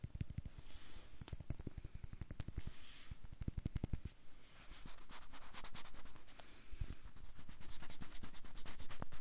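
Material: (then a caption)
Banana peel. Fingertips and nails scratch and tap the peel of a whole, ripe, unpeeled banana held close to the recorder. A quick, irregular run of dry clicks and taps mixes with soft scratching, with low thumps underneath. After a brief dip in the middle, the scratching becomes a steadier, denser rasp.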